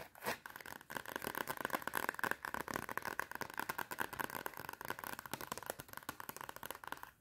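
Long red nails tap and scratch fast on the cardboard cover of a clapperboard-style notepad with a metal spiral. The result is a dense, continuous run of crisp clicks and dry scraping, centered in the midrange around 1–1.5 kHz with a bright edge and almost no low end.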